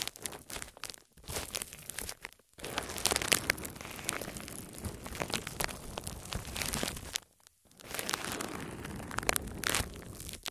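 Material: Plastic.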